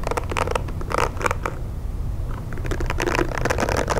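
Fingernails tap and scratch a pink plastic hair brush, working over both its back and its bristle side. Bursts of dry, bright clicks and scratchy rasps come in two busy stretches, separated by a short quieter pause near the middle. A steady low rumble runs underneath throughout.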